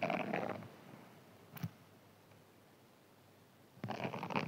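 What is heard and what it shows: A hand-sized green foam sponge held in one hand is scratched with fingernails and possibly a thin pin. A burst of dry, raspy scratching opens the clip and fades, a brief sharp scrape sounds near the middle, and the scratching returns loudly at the end after a quiet pause.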